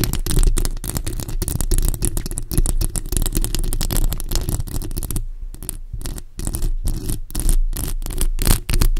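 Long acrylic nails on both hands scratch a bare, hollow black metal mesh microphone grille. The result is a dense, rapid, continuous scraping with a heavy low-end rumble under thin bright crackles, easing briefly past the midpoint before picking up again.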